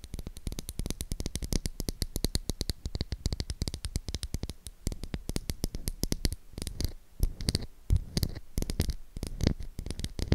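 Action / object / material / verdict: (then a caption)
tap / bar of soap / soap / none. Long acrylic nails tap and scratch the surface of a solid, palm-sized pink oval bar of soap with an embossed logo. Rapid, dry clicking taps with very short decay and a dull low thump run throughout, mixed with soft scratchy rasps.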